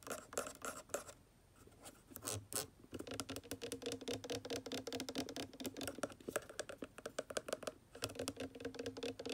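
Long dark nails and fingertips rapidly scratch and tap the white plastic cap of a water conditioner bottle. The result is quick, dry clicks and scratchy rasps with a faint hollow plastic tone and a bright hiss. The taps come in fast runs, with a short quieter stretch near the start and a brief pause just before the end.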